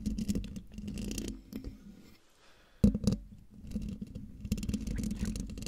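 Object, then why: Metal mesh microphone grille. Long dark nails scratch the sides of the hollow metal mesh grille on a silver condenser microphone, making a dense, close-up scratching and rubbing with a strong low body. The scratching thins to a near-quiet lull, then returns with a sudden loud bump and continues steadily to the end.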